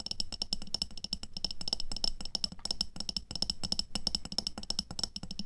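Long nails tap quickly on the sides of a medium clear glass jar with a black lid, full of red water beads and resting on white fur. A dense stream of sharp, dry clicks with a bright, high glassy ping and a soft low thud underneath, each tap dying away almost instantly.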